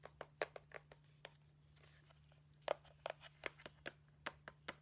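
A flat rectangular See's Candies cardboard candy box with a Christmas stocking print, held upright, is tapped and scratched on its front with long painted nails. About fifteen short, dry, crisp clicks land in two clusters separated by a quieter scratchy pause, each stopping at once with a bright edge, over a faint steady low hum.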